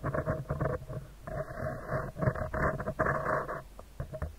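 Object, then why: Metal mesh microphone grille. Fingertips and nails tap and scratch a round, hollow metal mesh microphone grille from both sides. The result is a dense, uneven patter of soft taps and rustling scratches in bursts, with a full low thump and a muffled mid-range that stays below 2 kHz.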